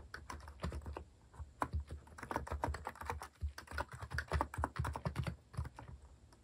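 Fingertips type fast and continuously on a compact white plastic mechanical keyboard (Hanmumu) fitted with cat keycaps. Around three dozen rapid keystrokes land in a quick, uneven stream, each a short, dry clack with a deep, muted thock and almost no ring.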